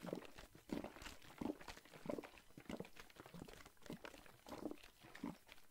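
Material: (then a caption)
Plastic. A Listerine plastic mouthwash bottle with green liquid, held in one hand, is shaken and squeezed while fingers tap on the plastic. Soft, irregular crinkly pops and taps mixed with liquid sloshing repeat at roughly one and a half per second, each short and dry with almost no ring.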